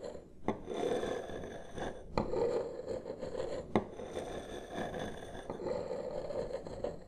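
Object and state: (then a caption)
Wooden table. Two wooden massage sticks, one held in each hand, slowly trace and scrape across a large solid wood-grain tabletop. Soft, rasping scrapes carry a warm midrange body, broken by a few sharp wooden clicks where a stick catches or taps the surface.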